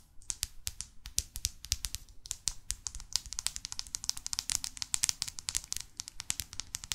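Long fake nails tap rapidly on the back cover and spine of a New York paperback guidebook. The result is a dense stream of quiet, dry, bright clicks with no ring, and a faint low rustle underneath.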